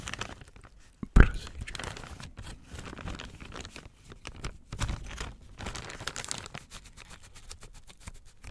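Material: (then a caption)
Plastic. A thin, transparent, hollow printed plastic packaging bag with WARNING/ADVERTENCIA text, apparently empty, is held in both hands and crinkled and crumpled with the fingers. A loud sharp crunch opens it, followed by steady crackling and rustling with bursts of louder crinkles.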